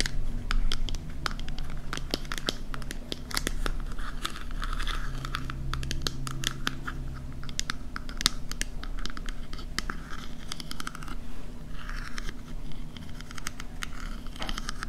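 Long nails tap and scratch along the rim and ridges of a small silver scallop-shell compact mirror, a hollow closed case that is likely metal. Quick, sharp, bright clicks are scattered over dry, scratchy rasps, with a steady low rumble underneath throughout.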